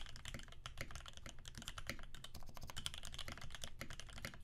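Both hands' fingertips type rapidly on a Percent Canoe 65% mechanical keyboard with a clear acrylic case, aluminum plate, filmed Alpaca switches lubed with 3204, and cream PBT keycaps. A dense, steady stream of short, crisp keystrokes follows, each with a bright tap over a deeper thock and almost no ring.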